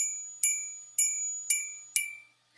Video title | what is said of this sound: Kitty Vintage Deals Live Sale Wed, 6/25/25 6pm et with Calypso Antiques-Cat & Lucinda Walker | if you do that and you hear a high pitched ring, I can hear it. It's crystal.